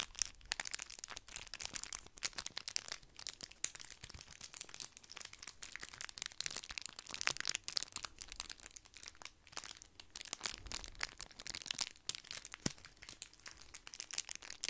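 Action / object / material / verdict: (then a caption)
scrape / thin foil candy wrappers / metal foil / none. Two small matching red foil candy wrappers, one in each hand, are crinkled and squeezed with the fingertips close to the microphone. The thin, crinkly foil gives a dense, continuous run of sharp, bright crackles and rustles with almost no low end. There are no pauses across the whole clip.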